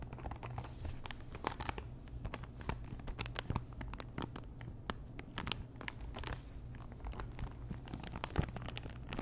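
Long nails scratch and tap a small pink Chanel cardboard perfume box, hollow and apparently still in its cellophane wrap, with its contents not visible. Quick, dry crinkling and scratchy clicks with bright edges are heard, each dying away at once. They sit over a steady low hum for about nine seconds.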